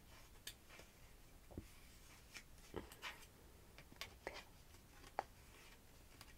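Short nails and fingertips scratch and tap the flat layers of a purple "5th" cardstock banner pennant with a layered star cutout, held close up. Soft papery scrapes alternate with a series of sharp, brief taps, and some speech is faintly present.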